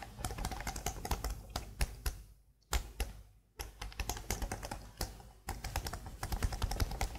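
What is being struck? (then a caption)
Plastic laptop keyboard keys. Long blue nails tap and type fast on the number-pad area of a black plastic laptop keyboard. Quick, crisp clicks with a low thud come in rapid bursts, with two short pauses near the middle. Each key sound dies away almost instantly.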